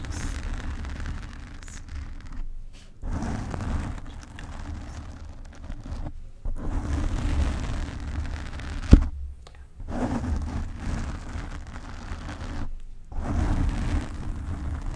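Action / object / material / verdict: scrape / foam microphone windscreen / foam / none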